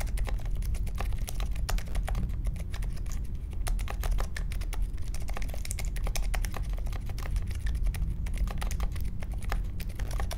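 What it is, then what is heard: Mechanical keyboard with plastic keycaps. A small 60% Polaris mechanical keyboard with a grey case, white, mint and pink plastic keycaps and silent linear Alpaca switches is typed on steadily with the fingertips of both hands on a marble desk. The result is a dense, continuous stream of soft, muffled key taps with a deep, thuddy low end and very little brightness.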